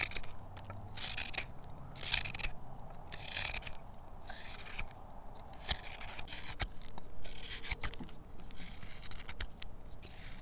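A steel hook knife repeatedly scoops shavings from the bowl of a pale, solid carved wooden spoon, its surface faceted from tool marks. Each stroke makes a short, bright, rasping scrape over a steady low rumble, and the strokes come in quick, uneven bursts.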